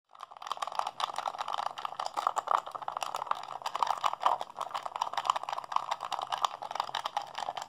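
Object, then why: Plastic game controller. A hollow blue plastic PlayStation 3 handheld controller is held in both hands while fingertips and thumbs rapidly press and mash its buttons and sticks. A dense, continuous stream of quick plastic clicks and clacks sits mostly in the mid range around 1 kHz, with sharp bright ticks on top. The clatter stays steady and busy throughout the clip.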